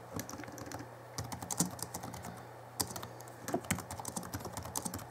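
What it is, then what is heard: Plastic laptop keyboard typing. Fingertips of both hands type fast on the backlit plastic keys of a small 2011 Alienware M11x2 laptop keyboard. Quick, dry clicks and taps come in uneven bursts with brief pauses, with bright key clatter over a steady low hum.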